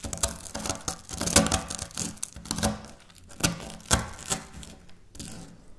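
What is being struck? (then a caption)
Wafer biscuit pieces. Dry wafer biscuit pieces are pulled apart and crumbled between fingers with long nails over a stone surface. Sharp, bright crunchy snaps and tearing crackles come in irregular bursts against a soft rustling background.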